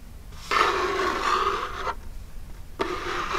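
Long jeweled nails scratch the lid of a small, hollow, printed Birchbox cardboard box tilted forward, making two raspy scraping strokes: a long one of about a second and a half, then a shorter one after a brief pause. Each stroke is a dry, papery rasp centered around 1.1 kHz with bright hiss above it, over a faint low background rumble.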